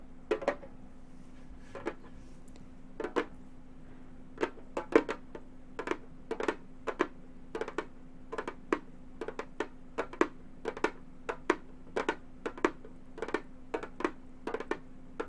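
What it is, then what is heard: Frame drum tapped with fingernails. Gold metal claw nails tap the synthetic head of a hollow frame drum. Many short, sharp clicking taps come in irregular bursts and clusters, each dying away almost instantly over a faint steady hum. The taps sound light and mid-pitched, with a dry, brief attack and little low body.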